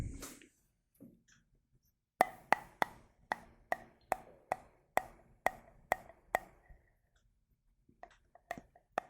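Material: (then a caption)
Glass. A glass jar partly filled with water is tapped in a steady run of eleven crisp, short taps, each giving a bright ringing tone around 730 Hz with a higher overtone near 2 kHz. Faint soft handling sounds come before the taps, and a few lighter, scattered taps follow at the end.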